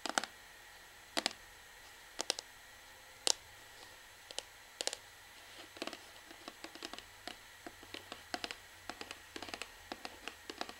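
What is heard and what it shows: Long fingernails tap and scratch the back label area of a hollow orange plastic Sunsilk shampoo bottle. Sparse at first, then quicker and denser, the sharp, bright clicks and light scratches die away almost instantly over a quiet background hiss.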